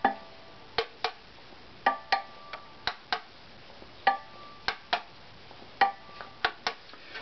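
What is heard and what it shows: An assembled, hollow, varnished wooden violin body is held up and tapped with a finger or knuckle, giving about 14 short, dry, hollow knocks. Each knock has a brief resonant tone near 790 Hz that fades almost immediately.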